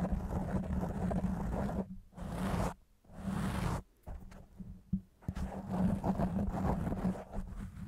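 Fingertips and nails scratch a soft, porous, round black foam windscreen on a microphone in a fast rubbing and scratching motion. The result is a dense, low, muffled rumbling scrape that briefly cuts out twice, then fades to a quieter patch with a sharp tick before returning full and steady.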